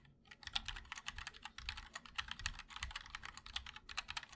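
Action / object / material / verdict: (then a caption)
tap / mechanical keyboard with plastic keycaps in a metal case / ABS plastic / none. Fingertips of both hands type continuously on a 60% MOD-L Linear mechanical keyboard with white and black ABS keycaps in a black aluminum case. A rapid, steady stream of short, bright clacks with a soft low thud beneath each keystroke, every press dying away almost instantly.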